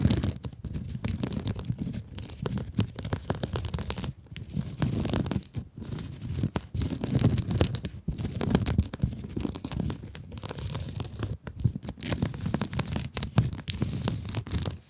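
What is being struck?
Mesh-covered foam scrub sponge.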